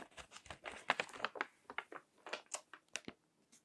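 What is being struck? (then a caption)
Paper magazine pages. Fingertips with long nails turn and crinkle the pages of a crinkled paper magazine with text pages resting on a table. A quick series of dry, bright crinkles and papery rustles comes in short bursts, with almost no low end and no ring after each one.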